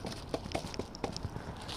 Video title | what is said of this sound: Street Theatre Gangstalking proof in Grocery Store I called the skit an hour in advance | frozen like it's hard as a rock